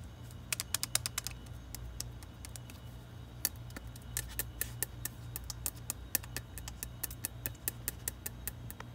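A solid, full king-size KitKat chocolate bar in a red plastic wrapper lies on a fridge shelf and is tapped and scratched with long red nails and fingertips, first on the front and then on the back. Quick, bright, dry crinkly clicks come in irregular bursts, each dying away almost instantly over a steady low hum.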